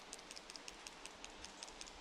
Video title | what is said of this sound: Was du bei Handyhalterungen fürs Motorrad beachten musst! | If I shake it like that, you can hear the rattling of the image stabilizer